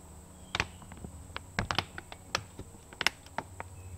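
Long pink fingernails tap and scratch a large woven polypropylene animal feed bag that appears filled. About eleven short, dry, bright clicks and scrapes come in uneven bursts, each dying away almost instantly. A faint steady high tone and a low hum sit underneath.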